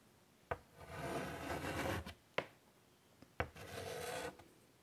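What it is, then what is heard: Chalk drawing on a chalkboard. White chalk held in the fingers scratches and draws lines across the dark surface of a large wooden-framed chalkboard lying flat. Two long, raspy strokes carry a steady squeaky mid tone, broken up by four sharp taps of the chalk against the board.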